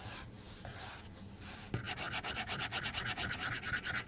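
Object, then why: Plastic stylus tip on a glass tablet screen. A white plastic stylus held upright rubs and taps its tip on the glass screen of a tablet lying on a desk. A soft, steady, bright scratching hiss gives way partway through to a quick series of short, repeated strokes with faint taps.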